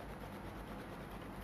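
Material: Nothing is struck.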